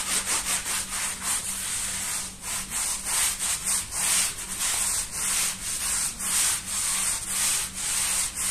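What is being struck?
Wet woven wool rug scrubbed with a brush.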